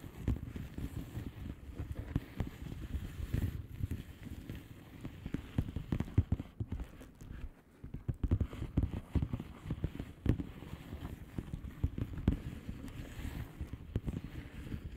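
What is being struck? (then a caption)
Plastic bubble wrap envelope. Long polished fingernails of both hands tap and scratch a flat blue plastic bubble wrap envelope with air-filled bubbles, lying on a surface. A steady stream of soft, muffled, low-pitched taps runs throughout, mixed with light scratching and almost no brightness. Each tap dies away almost instantly.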